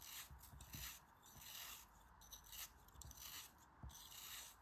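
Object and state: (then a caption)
Kinetic sand being sliced. A utility knife with a snap-off blade slices the corners off the remaining chunk of a solid pink kinetic sand cone held in the hand. The result is a run of crisp, crumbly, bright scraping cuts with soft low thumps, which rise and fall in quick repeated strokes.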